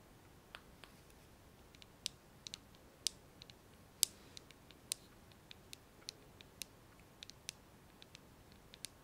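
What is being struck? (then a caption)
Plastic hairbrush. Fingernails tap and scratch the hollow plastic body and handle of a blue plastic hairbrush, giving about sixteen quiet, sharp, bright clicks at an uneven pace. Each tick is very short with almost no ring, over a soft hiss with little low end.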